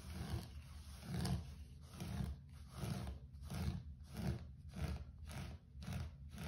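Fingertips scratch and rub the pile of a low-pile grey carpet floor, making a quiet, rhythmic series of soft, muffled scraping strokes. The sound is mostly a low rumble with only a faint brushy hiss on top.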